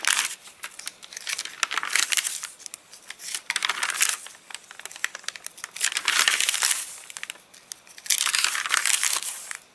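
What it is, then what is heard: Rain-dried paper catalogue, stiff crinkly pages. A hand lifts, turns and crushes the stiff, rain-dried pages of an open paper catalogue. Dry, bright crinkling and crackling comes in uneven waves, swelling into louder crunching bursts before fading back to soft rustles.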